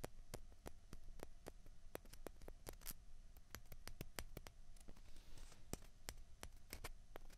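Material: Plastic.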